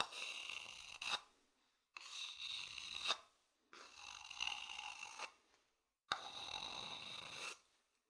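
A thin wooden stick scratches along the outer surface of an empty, medium, hollow, polished wooden bowl held in the hand. Four long, bright, rasping scrapes of about one to one and a half seconds each are heard, separated by short silences, with a faint hollow tone under the scratching.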